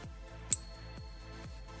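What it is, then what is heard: Genuine silver Morgan dollar. A genuine silver Morgan dollar is pinged once, right after a fake, so the two can be compared. It gives a clear, high ring with a fainter tone that holds to the end of the clip, over a steady thumping electronic music beat.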